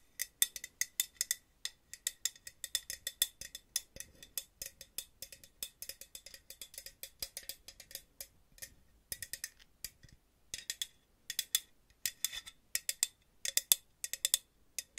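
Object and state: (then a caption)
Metal aerosol can. A purple and green Aussie aerosol hairspray can, about hand length, with a hollow metal body and a plastic cap, is held in one hand near the mic and tapped with long nails that have paper clips attached. Dozens of quick, bright metallic ticks come in fast clusters separated by short pauses, with a thin ring around 3.5 kHz and almost no low end. Each tap dies away almost instantly.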